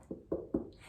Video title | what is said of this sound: Life Cycle of Pumpkins! | it's a little hollow if you knock on it but this outside is hard